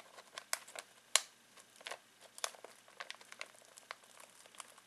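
Fingertips scratch and squeeze a full foil-plastic snack bag of pistachios, making it crinkle. Quick, bright, dry crackles come in irregular bursts, the loudest of them sharp snaps, over a quiet background with no low end.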